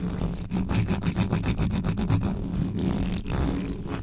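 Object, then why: Metal mesh microphone grille. Fingers with long yellow nails scratch and grip the mesh grille of a black metal USB microphone. The result is a fast, intense run of dense, low, rumbling scrapes with rapid rhythmic pulses and bright hissing edges.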